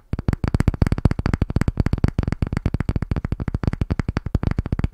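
A thick, solid, round disc of light pine-like wood is gripped in both hands and tapped rapidly on its flat face with fingertips and nails. About 33 quick, dull, low knocks land in under five seconds, each dying almost instantly with no ring.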